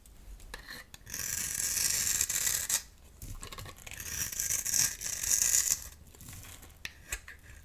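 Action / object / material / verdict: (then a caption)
scrape / bar of soap scraped with a metal blade / soap / none. A metal utility knife blade scrapes and cuts a dry, solid, rectangular pink Palmolive soap bar held in the hand, shaving it into crumbly flakes. Two long, bright, hissing scrapes rise and fall, followed by a few quiet ticks and light crumbling. The sound is dry and rasping, with almost no low end.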